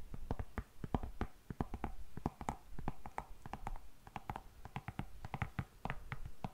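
Long nails tap and scratch rapidly across the shiny upper of an empty, hollow black patent leather high-heel pump. The result is a quick run of short, dry clicks with low, hollow body and brief bright ticks, each dying away almost at once.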